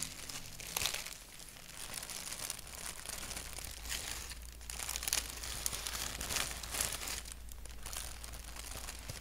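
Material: Paper.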